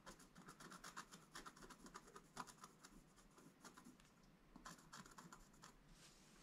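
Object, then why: Black-coated scratch-art card and wooden stylus. A wooden stylus scratches lines into a flat, black-coated scratch-art page. Quiet, quick, dry scratching strokes come in a steady series, each with a bright, raspy edge, before easing into a softer scrape near the end.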